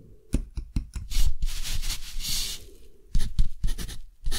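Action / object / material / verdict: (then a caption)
scrape / thick textured cotton paper sheet with a metal pen nib / cotton paper / none. A metal dip-pen nib scratches across a flat, thick, rough-textured cotton paper sheet held by a hand, writing in continuous handwriting strokes. Quick, bright scratchy strokes and light taps give way to a longer, rougher scrape in the middle, then more short strokes follow.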